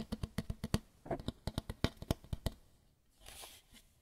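A white lampshade is tapped about 18 times in quick, uneven bursts, each tap a short, dry, low thump with no ring. The taps stop around 2.5 seconds, followed by a soft, hissy scratching on the shade.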